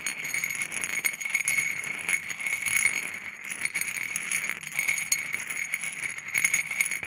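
Small, solid, mixed natural stone pebbles on a white ceramic plate are stirred and knocked with a wooden stick, so they rattle against each other and the plate. The result is a dense, continuous stream of quick, bright clicks and clatters with a ringing tone near 2 kHz and almost no low end.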